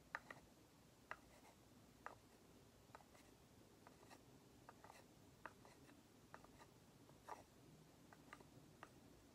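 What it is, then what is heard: Painted wooden nesting doll. A small, hollow, lacquered and painted wooden matryoshka nesting doll is held in both hands and tapped and scratched with long nails, while the other dolls sit untouched on the table. About ten quiet, sharp clicks stand out over soft, continuous scratching, each tap dying away almost instantly.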